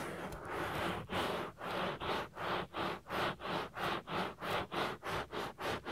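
Fingertips and nails rub and scratch the soft, solid silicone ear of a 3Dio binaural microphone. After a brief continuous rustle, the sound settles into a steady, rhythmic run of close, brushy scratching strokes, about three per second. Each stroke swells and fades with a broad, bright texture and almost no ring.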